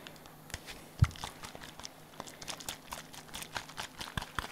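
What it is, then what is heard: Small plastic bottle. A small hollow pink plastic bottle is held in one hand and tapped and shaken with the fingers. It gives a quiet run of soft, dry clicks and crinkly rustles, with one louder, low thump about a second in, and each tap dies away almost at once.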